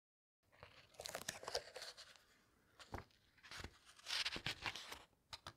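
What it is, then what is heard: Paper book pages being turned and pressed. Fingertips with long red nails press flat and turn the glossy paper pages of a large, thick hardcover book with a teal cover, lying open on a table. Bright, crinkly rustles and crisp paper snaps come in bursts, separated by quieter stretches of soft sliding.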